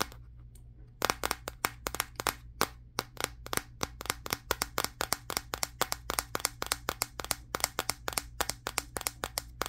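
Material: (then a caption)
Glass. Fingertips tap rapidly on the matte glass back of a Samsung Galaxy S23 phone held in the hands. After about a second of faint low hum, dozens of sharp, bright clicky taps follow in a quick, uneven rhythm. Each tap is dry and dies away almost instantly.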